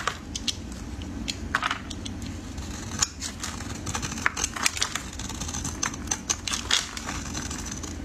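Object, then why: Soap bar cut with a metal blade. A solid oval red soap bar, held in pink finger cots, is carved into crisp flakes with a metal utility blade. Dense, dry crackling and scraping clicks run throughout, with brief bright, sharp transients that die away instantly over a low, steady background hum.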